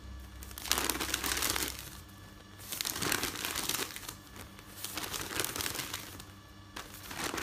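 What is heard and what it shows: Hands fold, press and lift the pages of a folded stack of thin printed newsprint resting on a bed. Bright, papery crinkling and rustling rises and falls in several waves, with quieter pauses between handlings.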